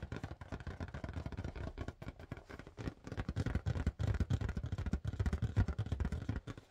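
Fast but gentle fingertip tapping on a blue marble-pattern latex balloon, inflated with a balloon pump. A dense stream of soft, hollow, low thumps with almost no high end runs steadily throughout, each tap dying away almost instantly.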